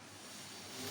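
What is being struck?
Nothing is struck.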